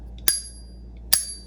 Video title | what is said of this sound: 8 silver tests you NEED to know ▶️ Don't get scammed when buying Silver | So when you go and flick this, you could hear that little shing.